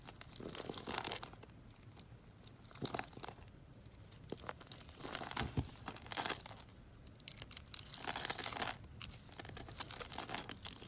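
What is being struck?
Bar of soap.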